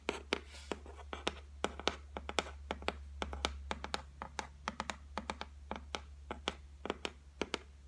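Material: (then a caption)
Laminate. Long white nails tap and scratch across a solid, flat white laminated shelf top. Dozens of short, dry, bright clicks come in an uneven rhythm, with faint scratching between them. A steady low hum runs underneath throughout.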